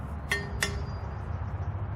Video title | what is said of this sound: Butterfly Swords Comparison: Everything Wing Chun Flagship Lightweight vs Murasame Swords | it rings like a bell all right